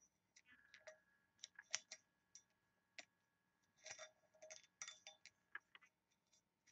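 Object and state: Small brass box tapped with nails.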